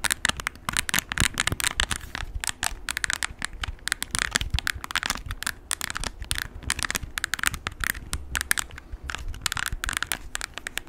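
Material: Plastic.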